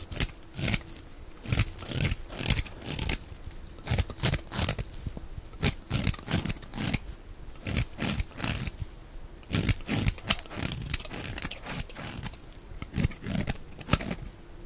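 A knife with a black handle shaves curls off a solid, palm-sized tan bar of dry soap held in one hand, among piles of soap shavings. Repeated short, crisp scraping and crunching strokes come through with a bright, dry texture and quick, clipped endings.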